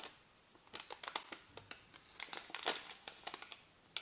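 A small white paper receipt is held between the fingertips of both hands as the fingers crinkle and rub the thin paper. The result is a quiet string of sharp, bright crackles and rustles with brief gaps between them, and almost no low end.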